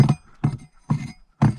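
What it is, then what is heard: Hollow stone slab floor. Four dull, low thuds sound as a flat section of laid stones is tapped, each dying away quickly with a deep hollow tone. The stone slab covering is hollow underneath.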